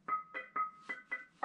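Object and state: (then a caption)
Ringing stone slab (lithophone). A thin stone slab, a rock flake or dripstone curtain inside a cave, is tapped six times. Each tap rings with a clear, musical, piano-like tone around 1.2 kHz, and the pitch shifts between taps as different spots on the slab give different notes.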